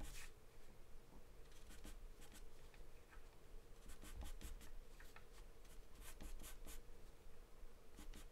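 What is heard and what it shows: A wooden pencil makes scribbling strokes on a sheet of thin, flat white drawing paper taped down. Soft, quiet scratchy strokes come in short bright bursts over a steady low hum.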